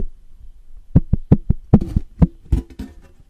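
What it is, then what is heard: Tin license plate tapped. Fingertips and nails tap quickly on the face of a thin, flat, embossed tin novelty license plate with a Beatles design, about 30 cm wide, held in both hands. Nine quick, dull taps land with a hollow low thud around 200 Hz and a brief papery scratch, each dying away almost at once.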